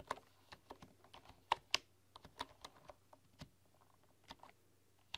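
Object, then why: Bamboo keyboard with wooden keys. Fingertips and long nails tap and type on a full-size bamboo computer keyboard with wooden keys. Soft, irregular, bright clicks and taps come at an uneven pace, with a few sharper, louder strikes near the middle. Each tap dies away almost instantly against a quiet background.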